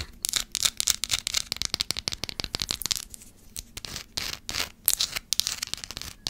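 Long black acrylic nails scratch the surface of a small, pale green solid bar of soap held in one hand near the microphone. Quick, dry, bright scratching strokes come in dense bursts with almost no low end, easing into a quieter patch around the middle before picking up again.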